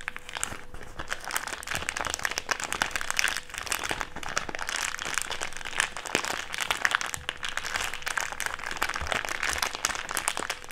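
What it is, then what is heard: Thick clear plastic bag being crumpled. A crumpled wad of empty, thick clear plastic bag is squeezed and rolled in the hands. It makes dense, continuous crinkling and crackling with many sharp, bright snaps and little low end. A faint steady hum runs underneath for the whole 11 seconds.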